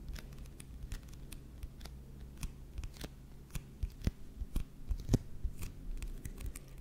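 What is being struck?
Paperback book with glossy paper cover.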